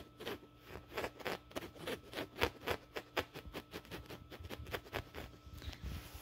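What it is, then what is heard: Woven fabric couch pillow. Fingertips and nails scratch the coarse woven fabric of a soft, stuffed, grey-brown checked woven upholstery couch pillow. A quick, uneven series of short, dry, brushy scratches with a bright rasp, each dying away almost at once.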